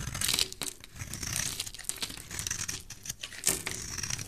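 A black utility knife blade scrapes and cuts flakes from a solid rectangular red soap bar held in the hand. The result is a dense run of crisp, bright scraping and crinkling strokes with little low end, each stroke stopping dry with no ring.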